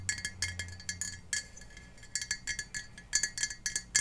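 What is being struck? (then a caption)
Glass jar partly filled with water. Long painted fingernails tap the sides and base of a clear Ball glass mason jar, hollow and partly filled with water, held up above foam blocks. The result is a quick, irregular run of bright, high clinks and ticks, each very short with almost no ring, and a faint low hum underneath at the start.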